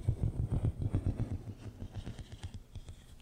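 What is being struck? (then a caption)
Ribbed plastic tube. Fingertips and nails scratch and tap the corrugated ridges of a long, hollow, pink and white ribbed plastic tube held across the microphone. The result is a rapid, uneven series of deep, muffled thumps with short decay, with faint brighter clicks and scrapes. The tapping grows softer toward the end.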